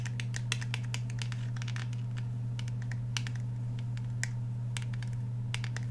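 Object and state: Fingernail tapping on a polymer-framed handgun.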